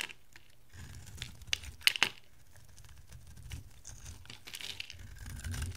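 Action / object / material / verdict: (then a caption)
scrape / bar of soap cut with a knife blade / soap / none. An oval, palm-sized bar of dry soap with a green core and a dark blue rim is held in the hand and shaved into curling flakes with a metal utility knife blade. Dry, bright scraping and crinkly crackling run throughout, with a few sharp, louder snaps near the two-second mark over a faint low rumble. The scraping swells again toward the end.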